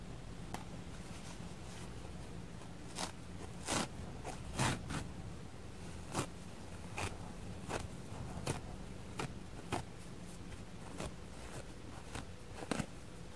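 Long red-painted nails pick at a small, worn, bleached foam kitchen sponge held in both hands, ripping pieces off the fibrous synthetic scouring layer on one side. A series of short, sharp, scratchy tearing crackles, bright and broadband, rises over a quiet low hum. A torn-off fibrous piece is left in view.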